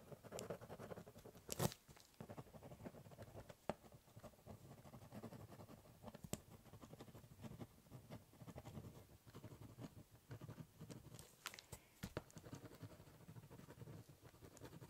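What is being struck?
Ballpoint pen on corrugated cardboard box.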